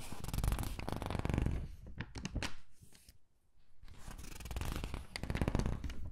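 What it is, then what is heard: Thin glossy paper catalog pages being handled. Fingertips pinch and squeeze the corners of a thin, glossy paper gift catalog and turn its pages, making a dense, continuous crinkling and rustling. The paper noise eases to a brief near-silence midway, then returns just as busy as before.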